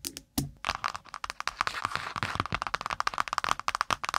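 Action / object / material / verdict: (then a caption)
tap / spiral notebook with cardboard cover and wire binding / cardboard / none. A spiral-bound notebook with metal wire binding and a brown kraft cardboard cover is laid across the mic and quickly tapped and scratched with long pointed nails. Rapid, sharp, dry clicks and crackles run almost nonstop, with a bright papery scratch texture between the taps.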